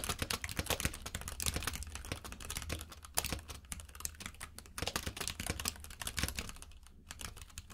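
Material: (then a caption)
Plastic. Fingertips type on a compact mechanical keyboard with plastic keycaps, producing a fast, steady stream of sharp, bright clicks and clacks. A low hum sits beneath the keystrokes, and each click dies away almost instantly.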